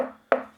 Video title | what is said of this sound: I took apart this Klipsch RP-600m II to show you the Anatomy of a Speaker | if you knock on the side of a speaker and you can hear a lot of ringing and like it's it feels cheap